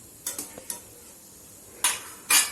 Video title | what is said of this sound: खमंग कुरकुरीत गाडीवरचा वडापाव घरीच बनवा- Vadapav Recipe- Mumbaicha vadapav- | हे बघा किती छान असा कुरकुरीत आवाज येतोय